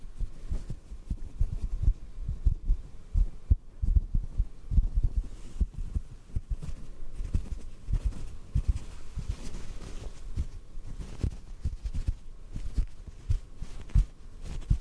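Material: Cotton.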